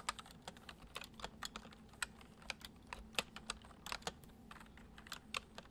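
Fingertips type quickly on the letter keys of a white plastic computer keyboard, making about two dozen short, bright clicks at an uneven pace. Each keystroke stops almost at once, and a faint steady low hum runs quietly underneath.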